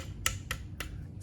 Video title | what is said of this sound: KO OS Starscream Thrilling 30 Transformers Generations/Combiner Wars Xinlixing Transrobots Tabo | whenever you flick it it's kind of gives you a nice solid sound